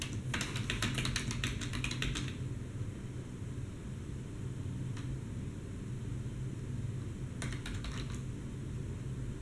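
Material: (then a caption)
Plastic. Fingertips type steadily with both hands on a black plastic desktop keyboard, producing a quick run of bright key clicks in the first two seconds, one lone click near the middle, and a short final burst near the end. A steady low hum runs underneath the whole time.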